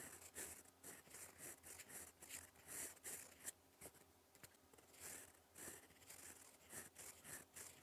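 A gold fountain pen nib writes in black ink on a flat sheet of lined cream paper, its tip scratching across the surface in cursive strokes. Quiet, bright, dry scratching comes in short bursts of stroke after stroke, with a faint steady low hum beneath.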